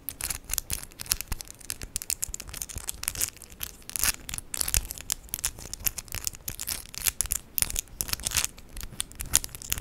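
Long, decorated acrylic press-on nails of hard plastic with 3D charms are rapidly tapped and clicked together between the two hands. The result is a dense, continuous stream of sharp, bright plastic clicks and light rattling, with little low end and almost no ring after each tap.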